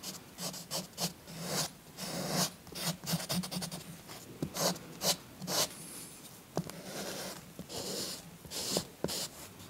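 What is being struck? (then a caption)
Chalk stick on paper colouring page. A green chalk stick is rubbed and scratched over a paper coloring book page in repeated strokes. It makes bright, dry scraping swishes with a faint low hum underneath, plus a few sharper ticks where the chalk catches the paper.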